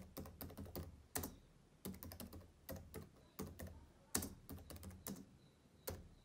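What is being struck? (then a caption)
Plastic laptop keyboard keys. Fingertips type on the plastic keys of a black laptop keyboard, producing quick, quiet bursts of soft tapping clicks. Each tap is short, with a low thump and a light, bright click, grouped into irregular runs separated by brief pauses.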